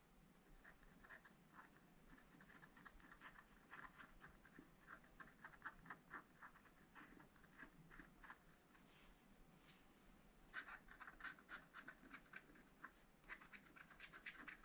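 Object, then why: Wooden stylus on wax-coated scratch-art paper. A wooden stylus scratches fine lines into the black wax coating of a flat scratch-art paper pad. The quiet, continuous dry scraping is made of many short, sharp strokes with a bright edge and a tone around 1.5 kHz. The strokes grow denser and louder toward the end.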